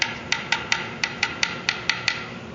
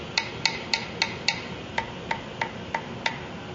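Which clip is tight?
The first.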